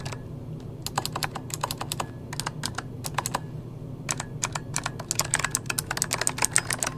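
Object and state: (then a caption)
Plastic mechanical keyboard. A full-size backlit mechanical computer keyboard with plastic keycaps is typed on rapidly with the fingertips of both hands. Bright, clicky key taps come in quick bursts with short pauses, then speed up into a dense flurry toward the end. A low hum runs underneath throughout.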